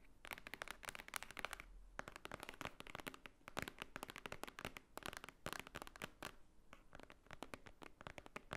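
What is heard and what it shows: Long nails tap and scratch across the top of a large, thick, solid white stack of paper pages. The result is rapid bursts of sharp, dry clicks and crackly scratching with no ring, broken by brief pauses.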